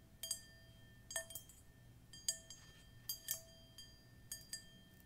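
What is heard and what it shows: A hand-held, hollow, empty dark metal singing bowl resting on a patterned cushion is tapped and clinked by long pointed metal fingernail claws. Bright, quick metallic clinks come in small clusters, each leaving steady ringing tones, including a low hum near 650 Hz and higher lines around 1.8 kHz and 3 kHz, over a quiet background.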